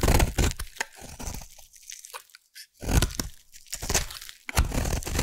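A metal blade carves a solid orange bar of soap into curled shavings, producing dry, crunchy crackling scrapes in short bursts with brief quiet gaps. The strokes carry a heavy low-end thump under a crisp, bright crackle, with no ringing after each cut.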